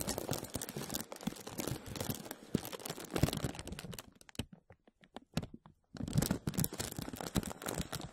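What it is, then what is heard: Crinkling plastic bag. A thin, clear plastic film bag wrapped over a microphone is grasped and rubbed with the fingertips of both hands, producing dense, bright crinkling and crackling. The crinkles thin out to a few sparse snaps near the middle, then resume just as densely until the end.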